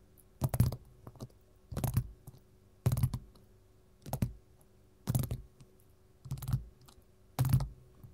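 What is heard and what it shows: Metal finger-jewelry rings tap on a gold mat in seven irregular bursts of quick clicks, with smaller taps in between. The taps are short, dull and low-pitched, fading almost at once against a quiet background.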